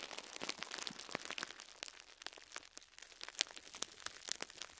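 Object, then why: Foam sponge wrapped in plastic film. Fingertips with short nails squeeze and crinkle a small foam sponge wrapped in cling film. A quiet, steady stream of bright, crackly plastic crinkles and sharp little snaps is heard, with almost no low end. Each crackle dies away instantly.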